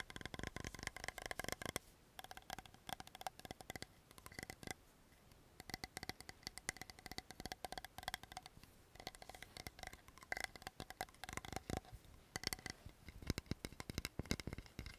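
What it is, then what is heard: Plastic toner bottle, named. Long fingernails tap quickly across the body and silver-blue cap of a blue translucent plastic cosmetic toner bottle that is hollow and partly filled with liquid. The result is a dense, fast stream of short, dry clicks and knocks with a faint hollow ring, brief pauses, and bursts that grow louder near the end.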